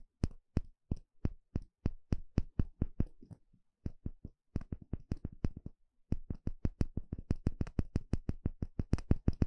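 A thin plastic pick pokes and scratches the inner surface of a small, shallow, empty bamboo bowl held in one hand. It makes a rapid series of short, dry taps, each a dull low knock with a brief bright click and almost no ring. A faint scratchy texture sits between the taps, with a short pause just before the six-second mark.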